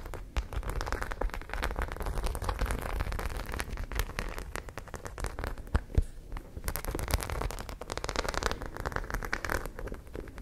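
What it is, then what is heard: Studded fabric pouch. Long nails scratch rapidly over the raised studs of a white studded fabric zippered pouch held in front of the face. The result is a dense, steady crackling patter like rain on a surface, with brief louder clicks and a low rumble underneath.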